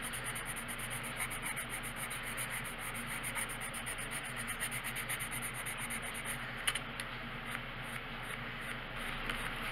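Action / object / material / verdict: scrape / paper coloring book page and wooden colored pencil / paper / none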